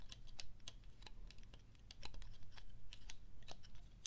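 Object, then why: Woody pine cone scales. A single dry, brown, hand-sized pine cone with rigid woody scales is held in both hands while fingertips and nails repeatedly scratch and flick its scales. Quick, bright, irregular clicks and ticks crackle over a steady low rumble, each snapping off almost instantly.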